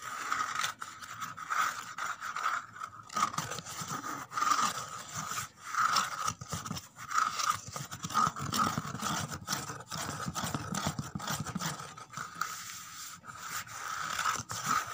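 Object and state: Corrugated cardboard box.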